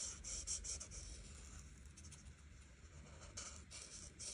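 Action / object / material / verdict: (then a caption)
scrape / marker tip on paper page / paper / none. An art marker tip is stroked back and forth across a flat paper coloring book page, filling in the background. The result is a soft, bright scratchy hiss in quick repeated strokes over a low rumble.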